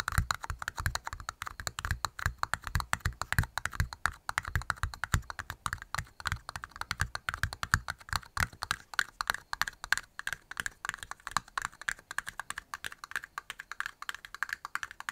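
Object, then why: Thin plastic party cups. Long nails rapidly tap two small, hollow, empty red plastic party cups held in both hands beside the mic. The result is a steady stream of quick, dry clicks with a soft hollow low thump and almost no ring. After about nine seconds, the low thump fades and the taps turn lighter and thinner.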